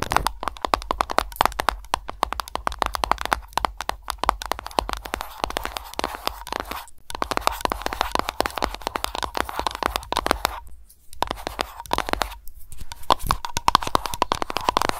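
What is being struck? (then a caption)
Tin screw lid on a glass candle jar. Long nails rapidly tap and scratch the flat tin screw lid of a small glass candle jar standing on a mat. Dense, dry clicks with a metallic ring around 1 kHz pile into a near-continuous rattle, broken by a few brief pauses.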